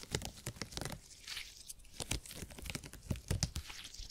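A purple hyper-elastic polymer gel grid cushion is bent and squished between fingertips, making a crunchy, squishy sound. Dense, dry crackles and pops with bright, broadband snaps sit over a soft low body, with no ring-out between them.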